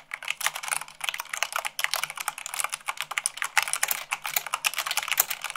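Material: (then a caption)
Plastic. Fingertips with long nails type fast, about 98 words per minute, on a mechanical keyboard with white plastic keycaps on a black base. The result is a steady stream of quick, bright, crisp clicks and clacks with almost no low end, each tap short and dry with no ring.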